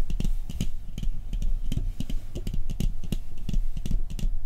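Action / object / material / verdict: tap / round metal cookie tin / metal / none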